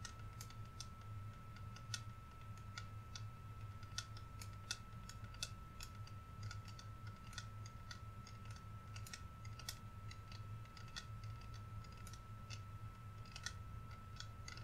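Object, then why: Plastic body spray bottle. Fingernails tap and scratch the body of a clear plastic vanilla body mist bottle, hollow and partly filled with liquid, held up in both hands. Quick, dry, bright clicks patter irregularly throughout, like light typing. They sit over a steady low rumble and a faint constant tone.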